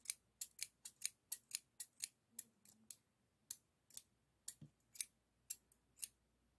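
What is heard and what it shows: Solid stainless steel hair thinning shears with a toothed blade, held in the fingers, are opened and closed in eighteen quick, unevenly spaced snips. Each snip is a short, bright, high metallic click and rub of the blades that dies away at once. The sound is quiet and almost entirely high-pitched, with next to no low end.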